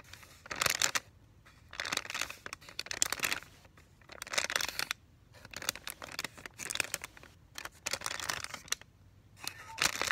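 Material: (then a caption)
Paper, plastic. A flat sealed medical peel pouch of Vaseline gauze, about 25 cm long with paper on one side and plastic film on the other and a thin gauze strip inside, is held and flexed in both hands while fingertips and short manicured nails rub and crinkle it. Bright, crisp crinkling and rustling comes in repeated bursts separated by brief quiet pauses, with almost no low end.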